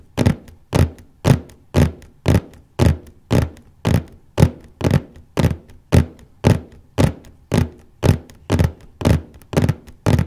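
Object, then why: Cardboard copy paper box lid. Fingertips and nails tap and scratch gently in one spot on the large cardboard lid of a copy paper box. About twenty dull, low thunks land at a steady, unhurried pace, each dying away almost at once with only a faint papery scrape on top.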